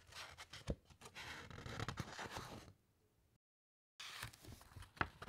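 Fingertips slide over the thick matte paper of an open encyclopaedia and turn a page, giving soft, dry brushing and rustling with a few sharper papery ticks. The sound fades to near silence, then a brief dead gap follows, and the rustling resumes with a crisp flick near the end.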